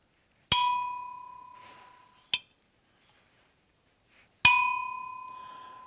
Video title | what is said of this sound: What really caused the Liberty Bell to crack | Kind of a dull sound. It doesn't ring real bright. Also doesn't have a ton of sustain to it.